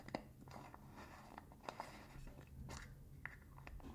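Fingers scratch and tap the rim of the blue metal lid and the body of a small cylindrical got2b hair wax tin held in one hand. The sound is a quiet, continuous scratchy rustle broken by short, dry clicks and taps. Each tap dies away almost at once, with no metallic ring.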